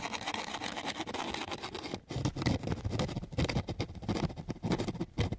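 A flat wooden popsicle stick scrapes repeatedly across a flat sheet of coarse sandpaper. A dense, steady gritty rasp runs for about two seconds, breaks off briefly, then returns as a series of separate back-and-forth scratching strokes. The scratching is gritty and full-bodied in the low range, with a thinner hiss above.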